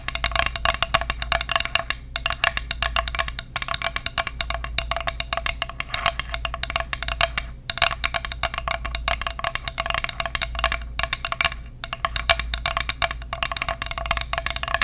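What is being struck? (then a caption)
Flat bamboo plate tapped with fingernails. An empty, flat, solid bamboo plate shaped like a bear's head, about 25 cm across, is tapped rapidly with long acrylic nails close to the microphone. The result is a dense, continuous stream of crisp, bright wooden clicks with a hollow tone around 680 Hz, each dying away almost instantly, with only a few brief pauses.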